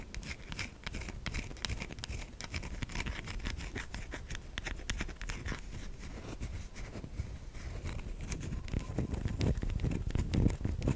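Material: Soap.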